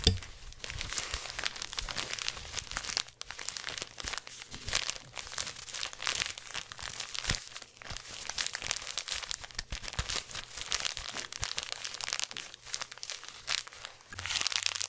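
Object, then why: Thin plastic gift bag. A small black crinkly plastic gift bag with a silver ribbon is held flat in both hands and rubbed and squeezed by fingertips. It makes a steady stream of bright, dense crinkling with brief sharp crackles, over a faint low hum. The crinkling swells louder at the start, around five seconds, and again near the end.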